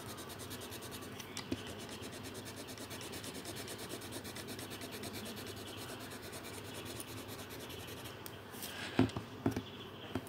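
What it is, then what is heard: Marker colouring on paper. A pink-bodied marker is rubbed back and forth across a thin paper colouring sheet lying on a table while colouring. A steady, soft, scratchy rubbing continues with a fast, uneven back-and-forth rhythm. Near the end, a few louder, sharper knocks break through.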